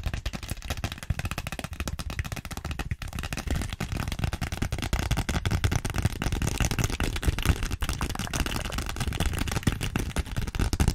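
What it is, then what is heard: Plastic zippered pouch. Long nails rapidly tap and scratch a small pink glossy vinyl zippered pouch with a flamingo print, held close. The result is a dense, continuous stream of quick, dull plastic clicks and scrapes, heavy in the low end with little brightness. It stays steady throughout and grows slightly louder toward the end.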